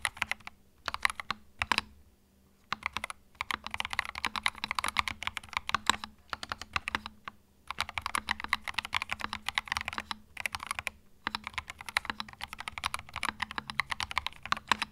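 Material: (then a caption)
Plastic. Fingertips type on a small white 65% mechanical keyboard with plastic keycaps and a hollow plastic case, resting on a felt mat. Bursts of rapid, bright, clacky keystrokes come in runs separated by brief pauses, with each click dying away almost instantly. A faint steady low hum sits underneath.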